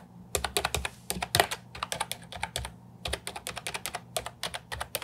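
A compact Ajazz 308I keyboard with plastic round typewriter-style keycaps is typed on with fingertips and nails. Rapid, bright plastic clacks come in quick bursts with brief pauses between them, each keystroke short and dry.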